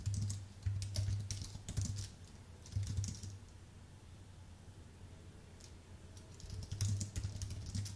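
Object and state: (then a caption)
Aluminium and plastic keyboard, typing. Fingertips type on a white Apple full-size keyboard with an aluminium base and plastic keys, then move to the lower row at the end. Bursts of soft, dull key taps sit over a low hum near 100 Hz, with light bright clicks. A quieter lull in the middle separates the typing runs before the keys pick up again.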